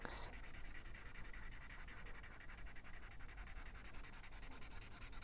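A felt-tip marker rubs back and forth across the paper page of an open paperback coloring book on a wooden table, coloring in a circle while the other hand holds the page. It makes a quiet, steady, rapid scratchy rubbing with a bright papery hiss over a soft low rumble for the whole clip.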